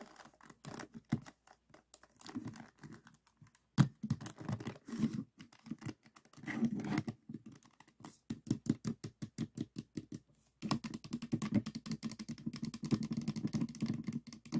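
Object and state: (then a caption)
Plastic Rubik's cube being turned. A small solid plastic 3x3 Rubik's cube with white and green faces rests on a table while fingertips turn its layers until it is solved. Rapid, dry plastic clicks and soft scraping come in uneven bursts with brief pauses, then build into a steady run of quick clicks toward the end.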